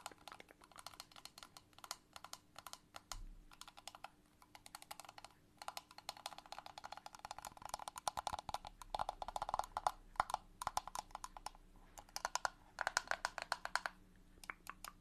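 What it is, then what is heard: Liquid-filled plastic box. Long nails tap rapidly on a small transparent plastic box with a green lid, filled with liquid and toys. Quick, dry clicking taps come in dense bursts with brief pauses, each tap short with almost no ring and a midrange tone around 800 Hz, over a quiet background.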